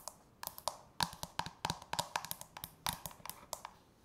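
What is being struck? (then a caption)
Plastic manicure bowl. Long natural fingernails tap and scratch the outer wall and rim of a medium-size, hollow, frosted translucent plastic manicure bowl that rests apparently empty on a countertop. About two dozen quick, irregular, sharp clicks sound with a bright, hollow plastic tone around 1 kHz. Each one dies away almost instantly over a faint, soft scratching hiss.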